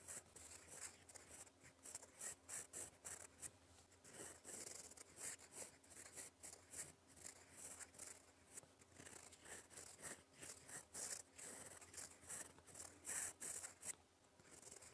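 A gold fountain pen nib writes in black ink on a flat sheet of lined cream paper, scratching across it in cursive strokes. The sound is a quiet, bright, dry scratching made of rapid short strokes that come in irregular bursts, with almost no low end.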